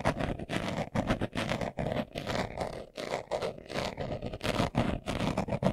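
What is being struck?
Leather-covered glasses case.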